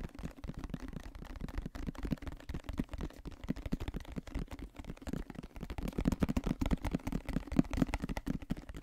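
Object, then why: Plastic lotion bottle. Fingertips and nails quickly tap and scratch a medium white plastic lotion bottle with a green cap, its contents not visible, held sideways in both hands. The result is a dense, continuous stream of short, dry, hollow taps with a low thuddy body and a faint tone around 260 Hz, mixed with light scratching. It grows somewhat louder and busier in the second half.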